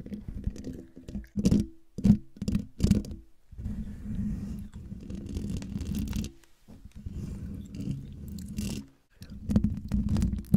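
Long dark nails scratch and tap the hollow, domed metal mesh grille of a silver Blue Yeti microphone, producing close, boomy scraping with a low resonant hum. Quick bursts of tapping come first, followed by longer, steady scratching passages and more bursts at the end.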